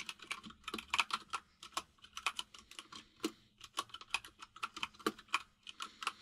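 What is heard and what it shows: Fingertips of both hands type on a full-size mechanical keyboard with white and grey plastic keycaps. A quick, uneven run of bright, crisp plastic clicks plays, each dying away almost instantly.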